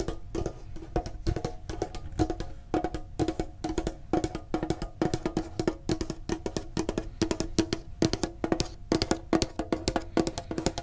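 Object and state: Metal card tin.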